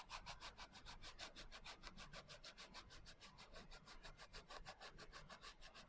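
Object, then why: Hardcover notebook with a coarse glitter cover. Fingertips and long nails rub quickly back and forth across the coarse glitter cover of a small, closed hardcover journal. The result is a steady, rapid scratchy rasp of short, bright, gritty strokes over a soft low rumble.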